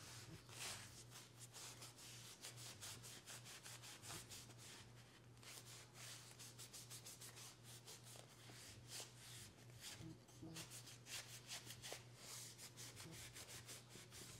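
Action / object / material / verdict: scrape / olive wood spoon rubbed with a cloth / wood / none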